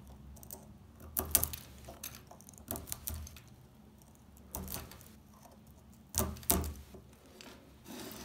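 A small metal blade scrapes along the top edge of a solid, dry brown household laundry soap bar held in the hands, lifting brittle flakes. Short, crisp, bright rasping strokes come in separate bursts over a low, quiet background, each dying away quickly.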